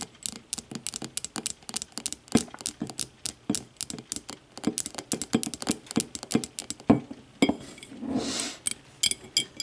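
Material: Glass.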